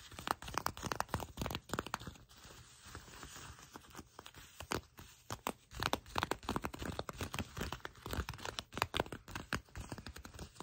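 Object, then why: Faux leather trouser fabric. Shiny black faux leather trouser fabric is gathered in the hands while long nails scratch its surface and fingers crinkle it. Dense, rapid crackling and scratchy ticks run throughout with short, dry bursts and no ringing, close and low in level.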